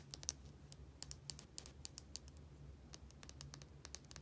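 A small plastic bottle with a white cap, held between the fingers, is tapped and scratched rapidly with fingernails on its cap and label. The result is around twenty quick, bright, dry clicks with soft scratchy texture between them, over a faint steady low hum.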